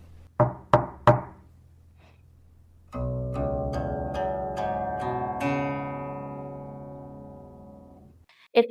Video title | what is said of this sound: Guqin lengths, styles, and tables | This table with a lower density uh amplifies the sound of the guine a lot more than the other table.